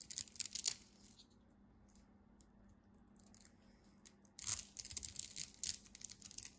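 A hand-sized solid orange bar of soap with a scored crosshatch surface is held in the fingers and scraped and carved with a utility knife blade, shaving off crumbly flakes. Crisp, bright scraping and crackling bursts are heard, then a quiet pause before the scraping resumes in a dense run over a faint steady low hum.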